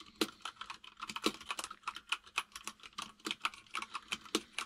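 Fingertips of both hands type fast on a full-size mechanical keyboard with white and grey plastic keycaps. About 28 crisp, bright plastic clacks come in quick succession, each dying away almost instantly, with almost no low end.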